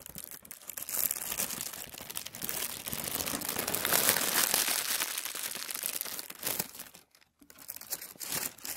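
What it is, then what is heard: Tissue paper sheet. A large, wrinkled sheet of thin tissue paper is rubbed and pressed flat with fingers and palm on a wooden table. Dense, bright crinkling and crackling rustles swell and fade continuously, with a brief silence near the end before the rustling resumes.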